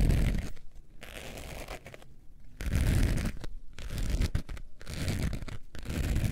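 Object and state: Faux leather wallet scratched.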